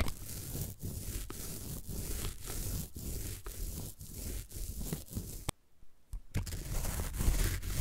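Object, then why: Floral foam brick. A needle roller is rolled repeatedly along the top edge of a solid green floral foam brick, rubbing and scratching the foam. The result is a dense, rough scraping texture in steady back-and-forth strokes with brief dips between them, with a heavy low rumble and a bright crackly edge. A short near-silent pause comes just before the end, then the scratching resumes.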